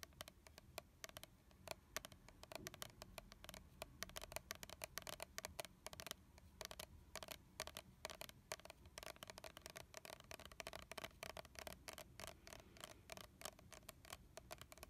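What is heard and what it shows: Fingernails of both hands tap and scratch a red translucent plastic body mist bottle with a leaf label, holding liquid. A fast, steady stream of sharp, bright clicks and dry scratching continues throughout at a low level, each tap dying away almost instantly.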